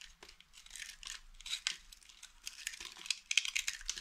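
A small, solid, mint-green dry soap bar held in one hand is scraped and shaved with the metal blade of a green utility knife, and flakes fall off. The result is a quiet series of dry, crisp scratching and crackling bursts, bright and high with almost no low end. Each stroke ends abruptly with no ring.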